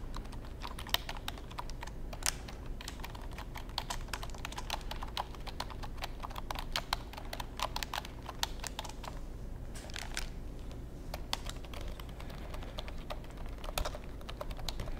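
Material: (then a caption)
Plastic. Fingertips type on and tap the keys of a long black plastic computer keyboard with a cable and a hollow casing, held in front of the microphone. A steady stream of quick, sharp, bright key clicks runs throughout over a constant low hum.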